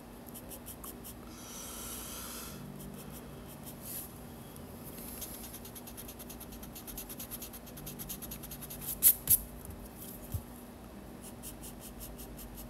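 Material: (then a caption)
Paper. A yellow pencil scratches and rubs lines into a figure drawing on the white paper page of a spiral sketchbook resting on a desk. Soft, steady scratching and rubbing runs throughout over a faint low hum, with a brighter hiss of strokes early on. Three sharper, louder ticks stand out near the end.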